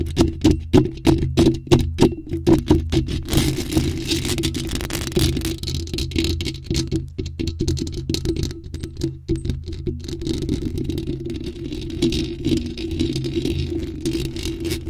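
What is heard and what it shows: Long nails tap and scratch the sides of a bare, hollow black metal mesh microphone grille, with no cover on it. Quick, close-up taps come first, then they blur into continuous rough scratching with a strong low-end boom and a raspy, rattly texture.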